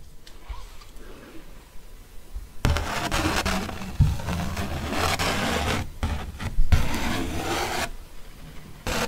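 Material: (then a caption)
Paper. A ballpoint pen tip traces and scratches across a thick paper art print with a fox face, held upright. A quiet start gives way to a dense, raspy scraping with a low rumbling body and brief pauses, ending in a short burst.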